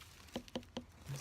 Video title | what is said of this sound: Ant’s Allotment - Harvesting Sugar Baby watermelons in the UK | That sounds a bit ringy.